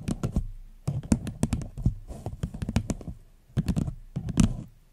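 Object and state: Hollow empty paper cup.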